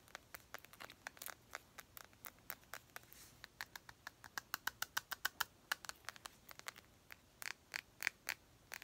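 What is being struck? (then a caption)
Glass perfume bottle. Long pink nails tap and scratch a round, clear glass perfume bottle with a gold cap, partly filled. Dozens of sharp, bright clicks and ticks come in quick, uneven bursts, each dying away almost instantly, with faint scratchy scrapes between them and little low end.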